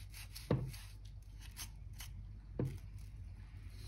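A hand-held crevice brush scratches and sweeps debris out of the gaps between oak floorboards. Two low, dull scraping strokes stand out above a soft, steady bristly rustle, each dying away quickly.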